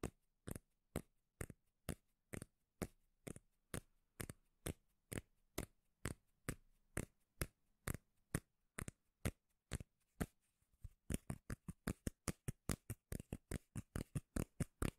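A solid, palm-sized round cork lid held close to the mic is scratched with long nails, giving about forty quick, dry strokes. Each stroke is a short broadband scrape with a deep, bassy body that stops almost instantly. The strokes start at a steady, spaced rhythm and then come faster and closer together in the last few seconds.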